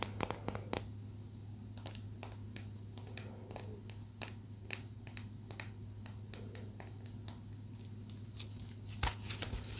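Long nails tap and scratch a small, solid palo santo wood stick held between the fingers. The result is a quiet, irregular run of sharp, bright clicks that die away almost instantly, with soft scratchy rustling between them over a steady low hum.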